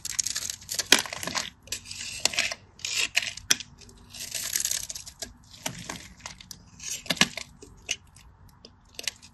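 A solid cream bar of soap, held in the hand, is cut and scraped with a craft knife so flakes and cubes chip off. Bright, dry scraping and crisp crunching bursts come in uneven waves, with sharp clicks of the blade and little low end. The cuts die away at once, with no ring.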